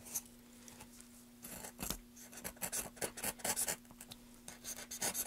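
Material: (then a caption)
Wood. A small carving knife in a gloved hand scrapes and carves a solid, pale, light-colored softwood board with carved grooves, with wood shavings around it. Irregular bursts of dry, bright scraping strokes come quieter at first, then faster and louder toward the end, over a faint steady low hum.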